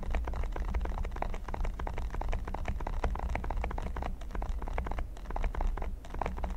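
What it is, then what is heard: Silicone pyramid mat. Fingertips and short nails scratch and tap across a flat, solid red silicone mat covered in pyramid studs. The result is a dense, rapid stream of short, dry clicks and scratchy brushes over a steady low hum, with a few brief dips in level.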